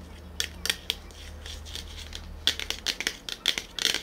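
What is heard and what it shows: Short fingernails and fingertips tap quickly on the printed body of a small, sealed-looking cylindrical metal BOSS coffee drink can held in both hands. Bright, clicky metallic ticks come in uneven bursts, each with a short, high ring that fades fast over a faint low hum.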